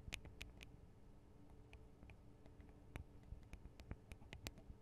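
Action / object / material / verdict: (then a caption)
tap / metal and plastic microphone capsule housings / metal, plastic / none. Long acrylic nails tap on the tops and guards of the Tascam DR-40 recorder's microphone capsules, small hollow metal and plastic housings. About a dozen quick, quiet, bright clicks with a faint ring sound over a low, steady background rumble, spread unevenly across the clip.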